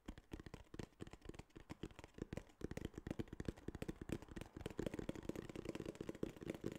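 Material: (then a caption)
Cardboard. A small flat tan kraft cardboard box, held upright, is tapped and scratched with fingernails. The result is a quiet, fast run of dull, dry taps mixed with soft scratching, each tap dying out instantly without ringing.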